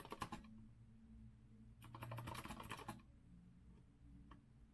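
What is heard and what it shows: Fingertips of both hands type on an Azio retro mechanical keyboard with a metal frame and round keycaps. A quick flurry of bright clicky keystrokes opens the clip, followed by a longer burst of tapping and then a few scattered single key clicks. A steady low hum sits underneath throughout.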